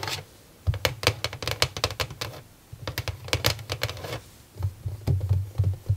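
Long nails tap rapidly on the top and sides of a small, hollow white plastic mini drawer organizer with nine clear plastic drawers sitting on a desk. Quick, bright clicky taps ride over a hollow, low plastic thump, coming in three fast bursts separated by short pauses.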